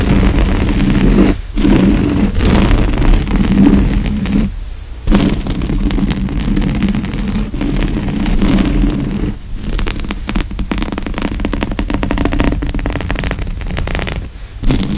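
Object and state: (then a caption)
Woven fabric couch cushion. Both hands scratch medium-length fingernails across the grey woven upholstery fabric of a large, soft, padded couch seat cushion, with a mic cable lying on the surface. The result is a steady, dense scratching rustle, weighted toward the low end with a faint bright hiss. It breaks off in a few brief pauses before resuming.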